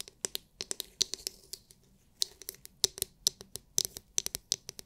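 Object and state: Plastic massage brush.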